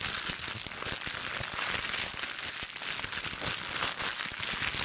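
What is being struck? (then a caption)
Thin plastic cling wrap. A small, light, hollow-folded wad of thin clear plastic film, cling wrap or a bubble-wrap scrap, is squeezed and crinkled between the fingertips and long pink nails of both hands. It makes a dense, continuous, bright crackling and crinkling with rapid sharp snaps throughout, at a steady level with almost no low end.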